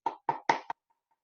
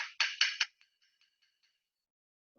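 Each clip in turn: First: paper book knocked. Second: glass object tapped.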